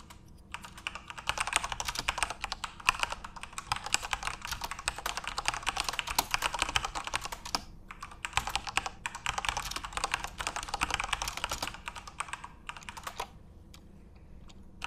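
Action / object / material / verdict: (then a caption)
tap / plastic mechanical keyboard keys / plastic / none. Fingertips type steadily on a full-size, RGB-backlit Corsair mechanical keyboard with plastic keycaps. The result is a dense run of short, bright plastic clacks centered around 1 kHz. The typing pauses briefly near the middle and again near the end.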